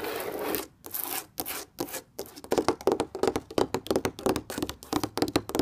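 Long red-painted nails and fingertips rub and tap a flat, thin stretched canvas painting in orange, yellow, red and grey panels, hung on a wall and seemingly hollow behind. A few seconds of broad, airy scratching strokes give way to quick, irregular taps with a dull, hollow midrange knock. Each tap dies away almost at once.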